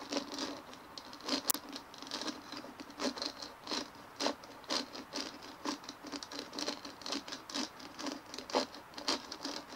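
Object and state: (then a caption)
Plastic bumpy ball. Fingernails tap and scratch quickly all over a large white dimpled plastic ball resting on a table. The result is a quiet, dry patter of short, bright clicks and scratches, about two per second but unevenly spaced, over a steady hiss, with one sharper click near the start.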